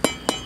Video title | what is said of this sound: RESURFACING SIDEWALKS (part 5) Mike Haduck | there's still hollow spots. You could hear it